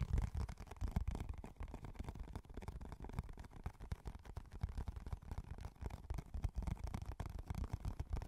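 A small, empty, hollow, clear and translucent rectangular plastic food container is held and turned in both hands close up while fingertips tap and scratch its walls and rim. The result is a continuous run of soft, dull, low thumps and muffled scratching with almost no ring.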